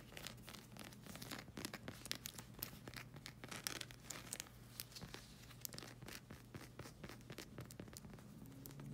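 Long red acrylic nails scratch across the solid black sole of a rubber slide sandal. Quick, dense, bright scratchy strokes crackle over a steady low hum, with no ringing after each stroke.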